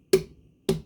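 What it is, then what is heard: Tapped watermelon (ripeness check). A seedless watermelon from Walmart is tapped twice to hear how hollow it sounds, as a ripeness check. Each tap is a short, dull knock centered around 380 Hz, with a brief bright click at the onset and a quick decay.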